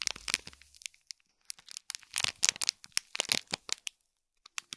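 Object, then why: Small gift box wrapped in foil and plastic film. Fingertips and nails scratch and crinkle the plastic film around a small gold foil-wrapped gift box, making dense bursts of bright, crackly rustling. The crinkles come in quick clusters, pause, then return in short scattered snaps.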